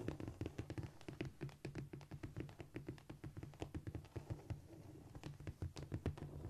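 Long nail tips rapidly tap and lightly scrape across a flat, solid cork floor surface. The result is a dense run of short, dull, low-heavy taps with almost no ring, mixed with faint scratchy scraping between them.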